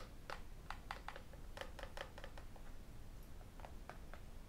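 Fingertips and metal rings tap the edge and glass screen of a tablet with an aluminium back, giving a quiet, irregular run of short, sharp clicks with a ringing tone around 800 Hz. Each tap dies away almost at once over a steady low hum.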